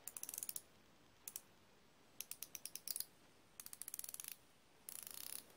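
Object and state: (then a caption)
Steel ratcheting wrench clicking. A solid chrome steel flexible-head ratcheting wrench is turned by the fingers at its hinged head, giving five bursts of rapid, dry ratchet clicks separated by short pauses. The clicks are bright and sharp with almost no ring, and the last burst runs into a dense buzzing rattle.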